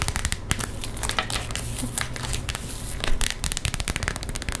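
An empty, flat, pink iridescent holographic plastic zip pencil pouch with grommets is crinkled, scratched and tapped with long nails. Quick, sharp crackling taps and crinkles come in fast succession over a steady low hum.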